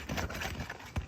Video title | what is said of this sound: Nick Stommell Repair Attempt (FULL VIDEO) | you can hear how crispy these things are